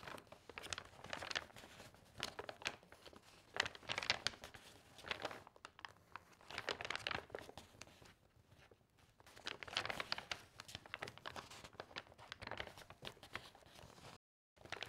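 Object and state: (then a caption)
Glossy magazine paper pages being handled. Hands with long painted nails lift, curl and turn single thin sheets from a stack of loose glossy magazine recipe pages on a table. Dense, bright crinkling and rustling comes in bursts, with a quieter stretch around 8 to 9 seconds and a brief silence near the end.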